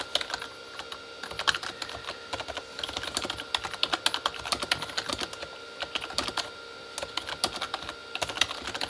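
Both hands type with their fingertips on a Corsair K35 plastic membrane keyboard with red backlit keys. A rapid, uneven stream of short, bright plastic clicks and taps, with almost no low end, plays over a faint steady background tone. Each keystroke dies away almost instantly.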